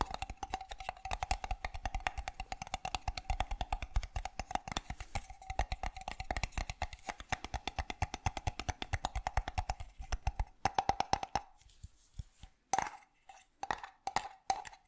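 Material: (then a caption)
Metal. Fingernails tap rapidly on the metal lid and body of a sealed, apparently full metal can with an orange paper label, producing a fast stream of short, dry clicks over a steady ringing tone near 780 Hz. After about 11 seconds, the tapping slows into sparse, separate taps with brief silences between them.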